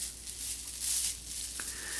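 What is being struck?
Nothing is struck.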